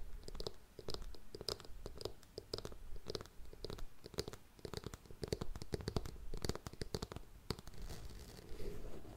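A grey faux suede ankle boot, held sideways, is tapped and scratched with long nails along its heel and toe. The result is a steady run of quick, dry clicks and scrapes with a soft, dull low body and brief bright ticks, each sound dying away almost at once.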